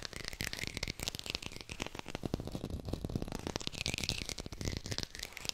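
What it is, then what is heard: Artificial textured plastic lemon. A textured artificial plastic lemon is tapped quickly with the fingers and recorded with a hi-fi microphone. It gives a rapid, continuous run of dry, rattly clicks with a soft low thump under each tap and bright, crisp detail on top. The taps die away almost instantly with no ringing.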